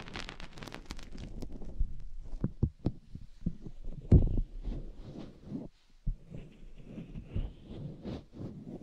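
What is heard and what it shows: A hand rubs and covers the silicone ear on a white binaural microphone housing, then long painted nails scratch and dig at it. The sound is close and muffled, mostly low rubbing thumps and rumbles, broken by sharper scratchy crackles that briefly turn bright.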